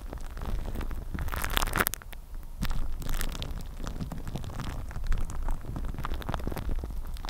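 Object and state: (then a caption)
Plastic cling film on a microphone, scratched. Clear plastic cling film wrapped on a microphone head is scratched and rubbed with long nails. A dense run of crinkling, crackling scratches sits over a heavy low rumble, with bright bursts of tearing-like crackle throughout.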